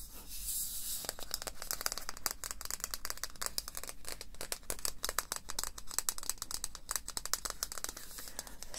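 A medium-sized Batiste dry shampoo aerosol can, aluminium with a white plastic cap, is shaken so the mixing ball inside rattles, mixed with some fingernail tapping on the can. After a brief soft hiss at the start, a dense run of sharp, dry clicks and rattles continues to the end, each one dying away almost instantly.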